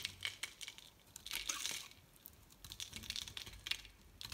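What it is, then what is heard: Bar soap being scraped. A metal utility knife blade scrapes and shaves a solid, bright green, rectangular Loles bar soap, building up curls of soap. The result is a quiet run of crisp, bright scraping ticks and brief rasping strokes with almost no low end, each sound stopping dead without ring.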